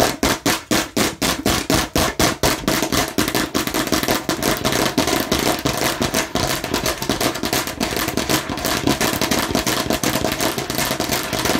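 Aggressive tapping and scratching on a plastic fake watermelon slice. Sharp, separate hard taps with a hollow plastic knock come first, then run together into a dense, fast clatter of tapping and scratching with bright, crisp highs.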